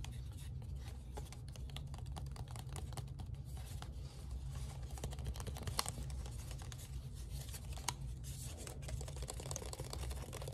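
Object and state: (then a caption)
Paper origami crown. A light, hollow origami crown folded from colored paper is handled, squeezed and flexed with the fingers. The paper gives a continuous crinkling and rustling full of quick, bright ticks over a steady low hum.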